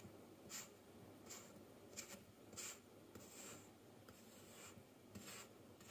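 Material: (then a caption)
Sand. A thin wooden stick tool cuts and scrapes through a solid, layered pile of yellow kinetic sand on a white table, breaking off crumbly slabs. Soft, bright, gritty scraping strokes come in short separate bursts over a quiet background.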